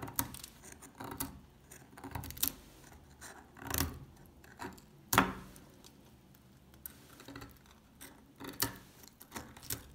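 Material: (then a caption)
Soap. A solid, dry old beige soap bar held in the hand is picked at with a metal pick tip and with fingers that have long dark nails. The result is a quiet run of small, dry crunching, scratching and clicking sounds, with several sharper, brighter snaps standing out.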